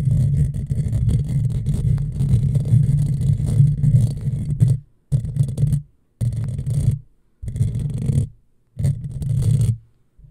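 Long fingernails on both hands scratch across a hollow black metal mesh microphone grille, producing a dense, low, rumbling scrape that runs continuously for about five seconds. It then breaks into shorter bursts of scratching separated by brief silences.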